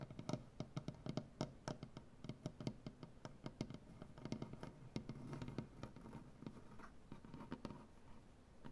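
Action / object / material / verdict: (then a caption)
tap / wooden butcher block tabletop / wood / none. Both hands tap and scratch quickly with nails and fingertips on a solid light wood butcher block tabletop. Dozens of short, dry, low-toned knocks land in rapid uneven bursts, with a soft rasping scratch filling the gaps between them. The taps die away almost instantly, leaving a close, muted patter throughout.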